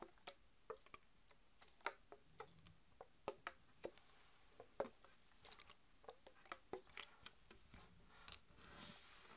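Long acrylic nails tap the body and plastic cap of a full green Mountain Dew plastic (PET) soda bottle, held lying flat and then upright. A quick, irregular series of short, dry clicking taps rings out, each bright and dying away almost instantly. A soft, airy hiss swells near the end.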